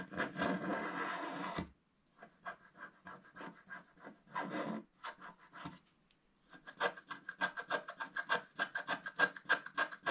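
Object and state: Wax-coated scratch art card being scratched.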